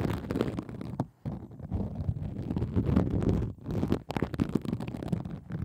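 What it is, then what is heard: Plastic bubble wrap. A hand with long acrylic nails scratches a pink plastic bubble wrap sheet laid over the microphone. It makes a dense, low, muffled crackling and rustling that runs almost continuously, with brief drops to near-silence around one second and again near the four-second mark.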